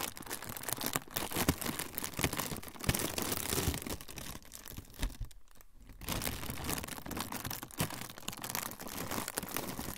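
A thin, flexible, semi-translucent frosted plastic sheet is crinkled and rubbed with fingertips. The result is a dense, continuous crackle of sharp, bright crinkles over a soft low rustle. The sound eases briefly to a quieter stretch around the middle before the crinkling picks back up.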